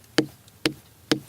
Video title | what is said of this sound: Shamba Shape Up Sn 8 - Ep 5: Rice Fertiliser, Watermelons, Dairy Cows (English) | if you hear a dull hollow sound like this it's probably ready